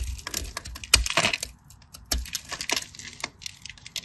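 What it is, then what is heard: Bar of soap being cut. A craft knife cuts into a solid cream bar of soap held between the fingers, breaking off crumbly cubes. Bright, crisp scratching and crackling comes in quick, irregular bursts of short snaps, with a few louder cracks as pieces break away.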